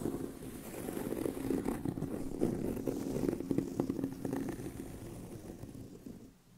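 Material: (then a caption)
Leather. Fingernails scratch across the upper surface of a tan pebbled leather handbag with a hollow body, making a dense, rough scraping texture centered in the low-mids. The scratching holds steady for several seconds, then fades out toward the end.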